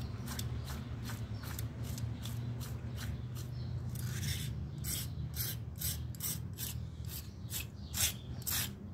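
A thin metal scraper held in the fingers scrapes dried mud off a small round miniature pile carpet lying flat on a stone tile floor, with a pile of scraped mud beside it. A quick run of rasping, ratchet-like strokes gives bright scratchy bursts over a steady low rumble.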